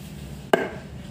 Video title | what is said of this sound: Cara memilih nenas yang manis | dia kurang padat suaranya ya